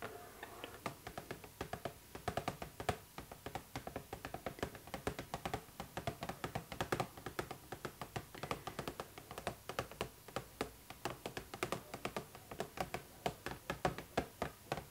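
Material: Plastic.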